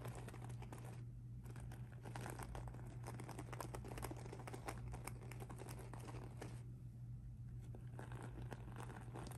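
Fingertips and nails scratch and pinch the mesh surface of a pink rhinestone mesh handbag lying flat. The result is a dense, quiet run of crinkly scratching and tiny clicks over a steady low hum.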